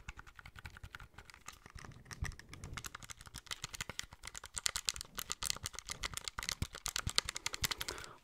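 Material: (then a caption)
Plastic. Fingertips and nails tap and click rapidly on the front of a small, hollow, grey plastic handheld game console, held in both hands, around its screen and buttons. The result is a dense, steady stream of short, dry, bright plastic clicks with almost no ring, growing slightly louder and sharper toward the end.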